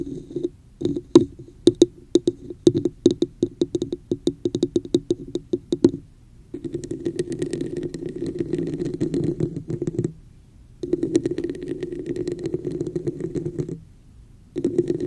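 Long nails tap on a hollow, red, textured plastic cup set over the microphone, giving quick hollow knocks with a mid-pitched tone for the first six seconds. The nails then scratch across the cup's raised pattern in steady rasping bursts with a faint bright edge, broken by short silences.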